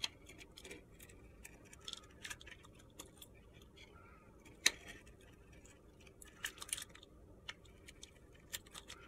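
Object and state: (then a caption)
Bar of soap being carved. A metal box-cutter blade shaves the glitter layer off a solid, palm-sized, purple-pink glitter bar of soap. About a dozen short, crisp, bright scraping ticks sound over a quiet, hissy background, with one sharper snap near the middle.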